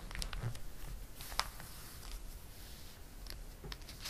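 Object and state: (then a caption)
Glossy paper catalog. A palm rubs the pages of a glossy paper catalog and a page is turned. It makes a quiet, steady papery rustle with crisp, bright crinkles, and one sharper snap about midway through.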